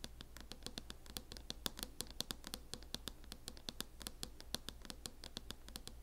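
Long acrylic nails scratch over a closed laptop in a mint matte plastic hard-shell case, producing a quick, quiet run of many short, dry, bright clicks and scrapes. Each one dies away almost at once, over a steady low hum.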